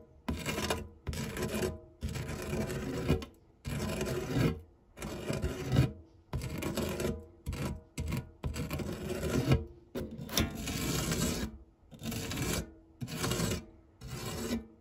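A printed silicone spatula rubs and scrapes across the textured base of a dark grey non-stick metal tart tin scattered with crumbs. Repeated short strokes of soft, rasping friction are separated by brief pauses, with a low, dull body and a faint bright edge.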